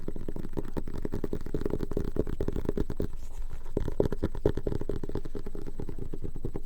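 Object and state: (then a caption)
Leather-bound journal. A leather-bound journal is tapped and scratched in a quick, steady flurry of soft, dull, low-pitched thuds with almost no high-frequency content. The rapid patter continues at an even level for about six and a half seconds, easing briefly just past the midpoint before picking up again.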